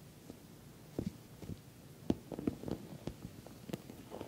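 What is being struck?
Soft-sided patent vinyl cosmetic bag.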